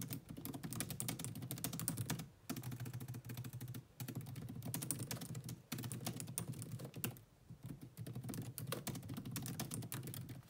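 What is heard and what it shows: Very fast two-handed typing with long nails on a grey laptop's black plastic chiclet keyboard produces a dense run of short, sharp key clicks with a low clacking body and bright ticks on top. The rapid bursts are broken by a few brief pauses before the typing resumes at the same quick pace.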